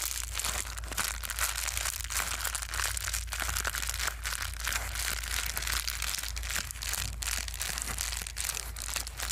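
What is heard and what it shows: A folded sheet of plastic bubble wrap is held in the hands and twisted and crumpled with the fingertips. It produces a steady stream of bright, dense crinkling and crackling over a constant low hum, with no pauses.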